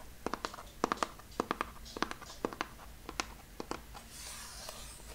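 A long, narrow cardboard box held in the hand is tapped and scratched rapidly on its lid with fingertips and nails. About twenty short, dry, sharp taps land in an irregular rhythm, with faint scratchy rustling between them and a soft hiss near the end.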